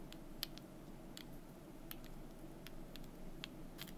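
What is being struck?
Small painted wooden cubes.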